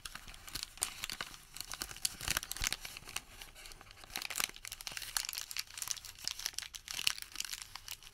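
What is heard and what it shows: Fingertips fold and crumple a Home Depot thermal paper receipt into a wad, producing a quiet, continuous run of sharp, dry crackles and crinkles. The sound is bright and thin, with almost no low end and brief snaps that fade instantly, centered around 3 kHz.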